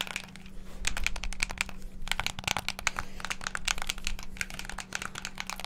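Fingertips rapidly press the colored face buttons of a hand-sized, hollow black plastic Xbox controller held close to the mic. The result is a fast, dense stream of sharp, bright plastic clicks and taps with almost no ring, over a steady low hum.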